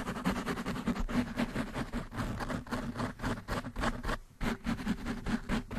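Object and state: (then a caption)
Foam microphone windscreen being scratched. Nails and fingertips rapidly scratch the black foam windscreen on a desktop microphone. The result is a dense, continuous run of rough, rustling scratch bursts with a boomy low body and a steady low tone near 240 Hz. There is a brief dip just past four seconds before the fast scratching resumes.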